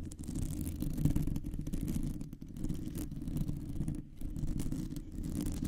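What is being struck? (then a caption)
Metal mesh microphone grille. Long nails scratch a round, hollow metal mesh microphone grille from both sides. The result is a dense, continuous, low rumbling scrape that sits mostly in the bass, with faint bright crackle above it. The sound dips briefly twice before returning at a steady level.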